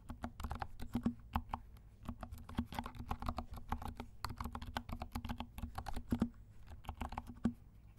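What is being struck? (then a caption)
Plastic mechanical keyboard with silent switches. Both hands' fingertips type steadily on a compact 68-key mechanical keyboard with dark plastic keycaps and silent switches. The keys give a rapid, uneven stream of soft, muted clicks and low thuds, each dying away almost at once. A faint low tone sits beneath the typing throughout.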